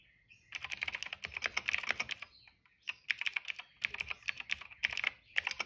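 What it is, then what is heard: Plastic mechanical keyboard. A retro-style cream plastic mechanical keyboard with dark and purple plastic keycaps and a hollow case, resting on a rug, is typed on steadily with the fingertips of both hands. Bright, crisp clacks come in quick bursts separated by short pauses, each tap dying away almost instantly with no low thump.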